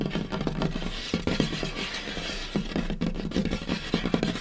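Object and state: Wooden tabletop.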